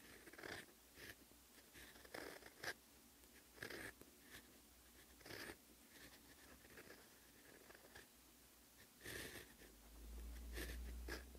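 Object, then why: Steel fountain pen nib on writing paper. A rose-gold steel fountain pen nib writes Korean handwriting in black ink on a sheet of lined cream writing paper resting on a desk. Short, bright scratchy strokes come in uneven bursts over a low steady hum, and each stroke stops dry with no ring.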